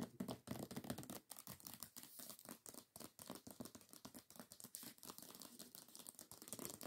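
Long acrylic nails tap and scratch fast across the glossy paper dust jacket of a hardcover book lying flat. The result is a quiet, rapid, uneven patter of sharp clicking taps mixed with dry, crinkly, papery scratching that fills the lows and mids with a bright hiss on top.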